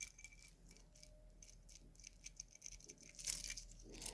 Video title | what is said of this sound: Shein Watches Watch unboxed reviews unboxing low budget cheap junk luxury fake quartz wristwatch PT1 | sounds tinny with with the plastic on the band can you imagine what it would sound like without that sound dampening